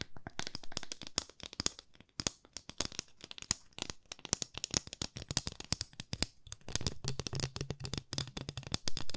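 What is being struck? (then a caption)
Wooden ruler tapped and scratched with fingernails. A long, thin, solid flat wooden ruler with printed markings, held at both ends, is tapped and scratched with long manicured nails. Rapid, irregular dry clicks and taps with bright, crisp edges die away almost instantly, mixed with soft scratching. Toward the end a faint low hum sits under the taps.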